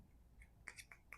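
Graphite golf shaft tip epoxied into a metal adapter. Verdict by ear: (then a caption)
Solid. A graphite golf shaft tip, epoxied into a metal adjustable driver adapter and cured for 24 hours, is tapped at the bond five times. Each tap is a short, dry, high-pitched click near 2 kHz that dies away almost instantly. The crisp, dead sound shows the tip is solidly seated and the bond is good.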